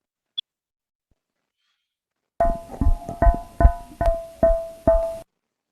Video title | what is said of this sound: clase 2 bovino | eso que parece que estuviera golpeando un balón de gas, efectivamente es un abomazo que está desplazado